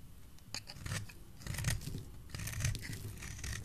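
A utility knife blade shaves curls from a solid oval green soap bar held in the hand. Soft, irregular scraping strokes carry a dull low body, with brief crisp, bright bursts as each curl peels away.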